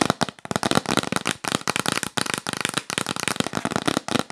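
Long pink acrylic nails tap rapidly on a yellow printed cardboard gift box held up close, giving dense bursts of sharp, dry clicks and rattles with no ring. The taps come in quick flurries separated by brief pauses, bright and crackly across the range.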